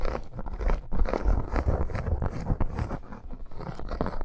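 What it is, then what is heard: Faux leather bracer. Both hands scratch a red snake-embossed faux leather bracer with long acrylic nails, giving fast, uneven bursts of dry, crunchy scraping. The sound is dull and heavy in the low end with almost no high brightness, and each stroke stops dead with no ring.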